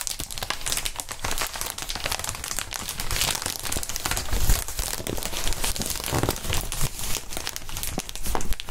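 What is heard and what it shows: Gloved hands squeeze and crinkle a clear plastic inflatable air-column packaging sheet, hollow and air-filled, bent into a curve. A steady stream of dense, bright crinkling and crackling plays throughout, with a low thumping body underneath and occasional louder squeezes.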